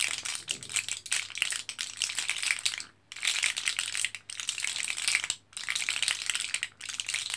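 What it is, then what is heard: Blister pack of capsules being rattled. Fingertips of both hands press and rattle capsules inside an orange plastic and foil blister card, held with the foil side out. Dense, bright, crinkly rattling and clicking comes in bursts, broken by brief pauses near 3, 4.3, 5.4 and 6.8 seconds.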